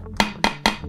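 Three taps on a metal food storage tray with a rubber lid. Each tap makes a bright metallic ping with a ringing tone around 200 Hz and strong upper overtones that fade quickly. The tray sounds like metal.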